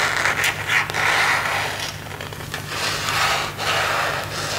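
Fingernails and fingertips rub and scratch across a thin, hollow, empty plastic phone case with a marble print, held up in the air. The scratching is a continuous, bright, raspy texture that swells and fades in uneven strokes, centered around 2 kHz, over a faint steady low hum.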